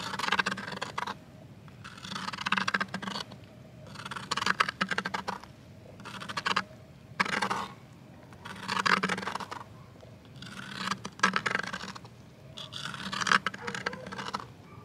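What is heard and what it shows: A thin wooden twig scrapes and scratches across the surface of a flat green plastic box lid lying on the ground. It comes in seven bursts of rough, bright, crackly scraping, separated by short quiet pauses.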